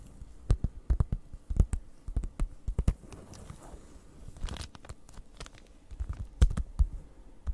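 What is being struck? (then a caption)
Plastic-wrapped cardboard package. A plastic-wrapped cardboard cross-stitch kit, a flat printed card package, is scratched and tapped with long nails. Sharp, dull taps come in quick uneven bursts over soft scratching, with a slight crinkle of the plastic wrap. A brief brighter rustle sits in the middle.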